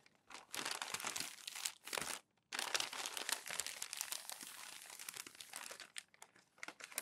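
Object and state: Crumpled glossy magazine pages being smoothed.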